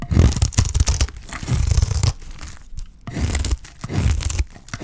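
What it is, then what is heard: Dry soap bar shaved with a blade. A dry, solid, pale cream bar of white soap is held in the hand and shaved with a utility knife blade, with flakes peeling off. Scraping, crunching strokes with a low body and a bright, crackly edge come in bursts separated by short quieter gaps.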